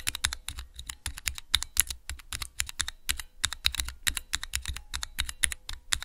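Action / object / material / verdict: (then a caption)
tap / clear plastic key switch tester / plastic / none. Fingertips rapidly press the keys of a small clear plastic 3x3 Cherry MX key switch tester. Dozens of quick, bright, sharp clacks follow one another with a faint low thud beneath each. Every press dies away almost instantly.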